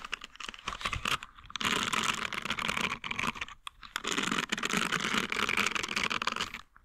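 A green, flexible silicone scrubbing pad covered in short nubs is held close to a microphone while its bristles are flicked and scratched with fingertips and nails. Scattered bright ticks open the clip, then build into two long stretches of dense, crackling scratching, with a brief pause near the middle. The sound is crisp and high, with little low end and almost no ring after each flick.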